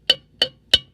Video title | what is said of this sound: Cat 60 parts cleaning and a little story telling 1/28/22 | if i tap on it over here it sounds solid